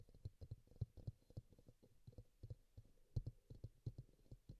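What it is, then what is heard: Plastic bowl tapped. Fingertips and nails tap the base and side of a small, hollow pink bowl, apparently plastic, resting upside down on a green towel with a microphone inside it, while a green bowl beside it stays untouched. About twenty soft, dull, low thuds follow in an uneven rhythm, each dying away almost at once.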